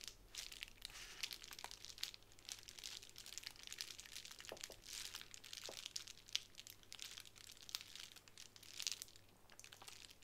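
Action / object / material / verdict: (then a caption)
scrape / plastic bubble wrap sheet / plastic / none. A sheet of plastic bubble wrap on a table is scratched and pressed with long nails. The result is a quiet, steady bed of bright, dry crinkling scattered with many tiny sharp clicks and pops that stop instantly, with almost no low end.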